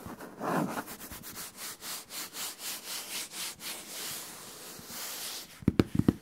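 Fingertips scratch and tap the flat side of a large, empty-looking brown cardboard box, likely a shoe box, held beside the microphone. A steady run of rhythmic, bright scratching strokes turns into a softer, continuous rub, then ends with five quick, sharp taps.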